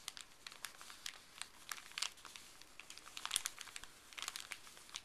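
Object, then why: Thin paper wrapper. Gloved fingertips crinkle and crumple a thin, small white paper wrapper with blue print, held close. The sound is a quiet, steady stream of bright, dry crackles with many short, sharp snaps and almost no low end.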